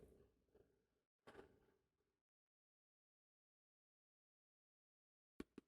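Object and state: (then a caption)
Hardcover book cover. Tapping on the hard cover of an old thrift-store copy of The Man in the Iron Mask: soft, muffled taps for the first two seconds, then a long silence before two sharper, closely spaced taps at the end.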